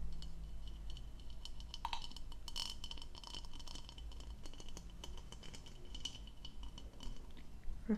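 Long nails tap and click on the hollow, diamond-textured bowl of an empty blue plastic goblet held up in the air. The result is a soft, steady run of light, bright clicks and scratchy ticks with brief glassy pings over a low background hum, ending in a slightly louder click.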